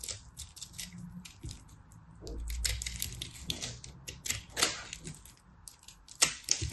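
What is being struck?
Pressed soap ball.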